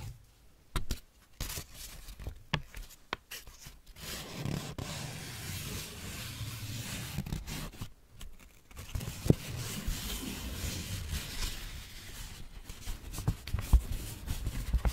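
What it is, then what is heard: Crumpled paper sheet. A thin, already creased white paper sheet is held up in both hands while fingertips with long manicured nails stretch, rub and crinkle it. Soft rubbing and rustling swell and fade, broken by sharper crackles and small snaps. The texture is low and muffled, with brief bright crinkle edges.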